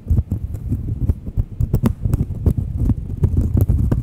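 Long nails scratch and tap a thin, solid round cork coaster held edge-on and face-on close to the mic. The result is a dense run of quick, dull thumps and scratchy rubbing, heavy in low rumble with brief bright clicks on the sharper taps.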